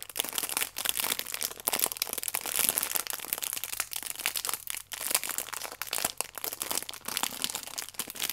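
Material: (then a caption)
Plastic film. A plastic-wrapped stack of yeast sachets is held upright in both hands while fingers squeeze and rub the clear plastic film over the sachets. The result is a continuous, bright crinkling and crackling with almost no low end, rising and falling in irregular bursts.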